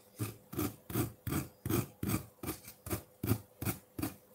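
A metal fork scrapes a solid block of colored ice sitting in a ceramic bowl, raising frosty shavings. Eleven short, rasping strokes follow one another at a steady, rhythmic pace, each with a low, gritty body and a bright, hissy edge that stops almost at once.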